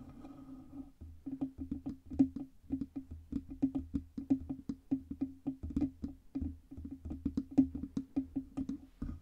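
Long red nails tap rapidly on the hollow metal body and stand of a black Blue Yeti USB microphone with a side knob. Dozens of short, dry knocks ring with a hollow mid-pitched tone near 266 Hz over a soft low thump, each dying away almost at once.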